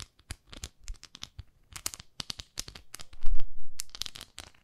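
Long nails scratch the textured surface of a small pink plastic facial cleansing brush held in both hands. A rapid series of short, dry crackling scratches sounds with bright edges, while a louder low rumbling swell builds midway before fading back to quieter scratches.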